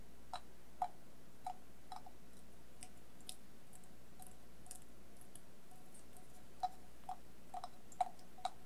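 A hollow, empty stainless steel bowl, held upside down with its outside covered in coloured tape strips, glitter and rhinestones, is tapped with fingertips and nails. Soft, irregularly spaced taps each give a short metallic ring around 730 Hz with a faint bright click on top. The taps are quiet over a low, steady background hum.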